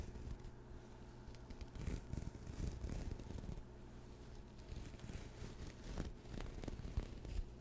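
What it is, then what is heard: Knit fabric zipper pouch. Fingertips scratch and rub the surface of a medium-sized, hollow, soft pastel speckled knit or woven fabric pouch with a mint zipper, right beside the mic. The result is a low, muffled, crackly rustle that swells and fades in soft bursts, with faint scratchy texture in the highs.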